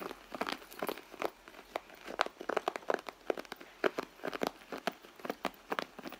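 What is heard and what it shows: Long nails scratch and tap the soft leather of a red handbag near its side seam. The result is a quick, irregular series of dry crinkling clicks and scrapes, mostly midrange with little low end and almost no ring after each touch.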